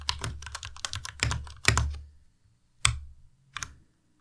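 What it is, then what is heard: Plastic mechanical keyboard being typed on. A white Ducky Miya Pro tenkeyless mechanical keyboard with plastic keycaps is pressed key by key with the fingertips, including the spacebar and arrow keys. A quick run of clacky strokes, each a bright click over a low thump, is followed by two separate, slower presses after short pauses.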